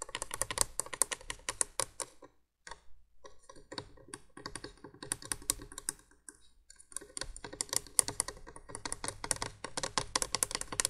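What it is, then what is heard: Plastic candle window light base, hollow. Long nails rapidly tap and scratch on the hollow plastic base of a 1980s window candolier light, making dense bursts of sharp, bright clicks with scraping in between. Two brief pauses break the tapping, which then resumes just as fast.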